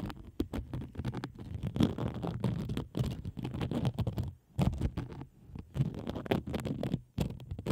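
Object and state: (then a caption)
Plastic bubble wrap. A large sheet of thin, air-filled pink plastic bubble wrap stretched over a microphone is scratched and tapped with long acrylic nails. The result is a dense, muffled run of low, rumbling crackles and rubbing scratches, with many quick taps that are too closely spaced to count.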